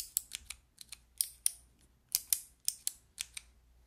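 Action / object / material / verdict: tap / plastic keycap fidget toy / plastic / none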